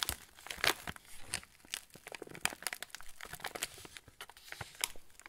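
A full yellow plastic-film TUC cracker packet is turned and squeezed by fingertips, crinkling the wrapper. Dense, bright crackles and sharp snaps come in quick, uneven bursts over a quiet background. Each crackle dies away almost at once.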